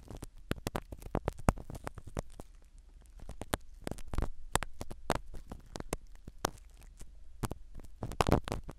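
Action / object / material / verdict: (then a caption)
scrape / foam microphone cover in a silicone ear / foam / none. A black spiral ear pick scratches and pokes at a small black foam-covered microphone set in a silicone dummy ear. Dense crackly scratches and soft, close, muffled pops come in irregular bursts over a steady low hum.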